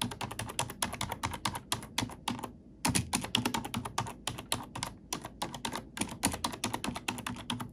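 Fingertips and nails type rapidly on a black plastic computer keyboard, producing a steady stream of short, bright clicks and taps with a soft low thud beneath. The keystrokes pause briefly around the 2.6-second mark, then resume at the same quick, even pace until the end.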